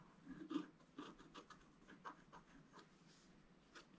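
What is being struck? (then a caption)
Scratch-art card scratched with a wooden stylus. A thin wooden stylus scratches a flat, black-coated scratch-art card held down by one hand. It makes a quiet series of short, dry scraping strokes with brief bright hiss bursts, each fading almost at once.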